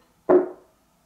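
A single knock on the side of an untreated MDF Dayton Audio T652 speaker cabinet, tested to compare it with a treated one, gives a hollow, resonant tone centred around 340 Hz. The ring fades out over about 0.4 seconds, showing the cabinet resonates.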